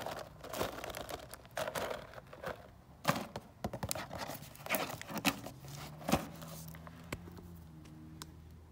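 A closed cardboard gingerbread kit box is tapped with fingernails and tilted or shaken by hand. Sharp, dry taps and crisp clicks mix with crinkling rustles as contents shift inside, and a faint low hum lingers near the end.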